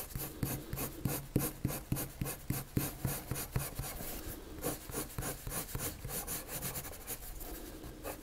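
A colored pencil scratches repeated strokes across a flat sheet of white drawing paper to shade a circle. Quick, somewhat irregular scratchy strokes are heard, sharp and distinct at first, then blending into a steadier, softer rubbing. Each stroke has a dull low body and a faint bright hiss.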